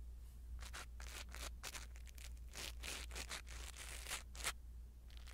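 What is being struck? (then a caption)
Foam microphone windscreen. A blue silicone-bristle ear-cleaning tool brushes and scratches the small black foam windscreen of a clip-on pin microphone mounted on a yellow toy. The result is a quiet series of soft, bright, airy scratching and rustling strokes over a steady low hum.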